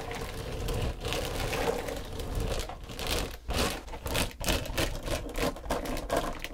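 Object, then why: Foam body sponge. Long, pointed dark green nails tap and scratch across the textured surface of a long, flat, pale pink foam back-buffer sponge, solid and soft, lying on a wooden table. The result is a steady, dry crackling scratch with soft, muffled taps over a low rumble, swelling into louder bursts in the second half.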